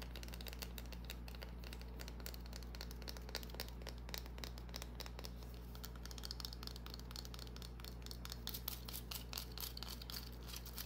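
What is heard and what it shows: Long painted nails scratch and tap a small solid green bar of soap held in the hand, making quick, uneven, crisp clicks and scrapes over a steady low hum. The taps are short and bright, with soft scratchy crinkling between them.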